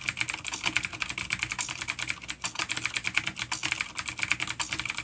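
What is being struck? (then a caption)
Plastic mechanical keyboard with clicky switches. Both hands type rapidly with their fingertips on a full-size black plastic vintage mechanical keyboard with grey keycaps and a coiled cable, an A-grade unit with vintage clicky blue switches, resting on a wooden desk. About 37 sharp, bright key clicks sound in quick succession, each ending almost at once with very little low end.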